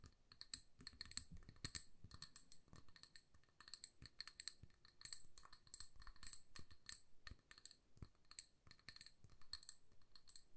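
Long nails tap rapidly and repeatedly on the sides of a hand-sized amber glass jar filled with candle wax and wrapped in a paper label. Each tap is a quick, bright glassy click with a very short high ring, over a faint low rumble.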